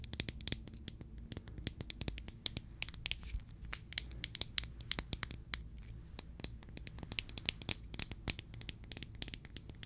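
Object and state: Plastic glitter jar.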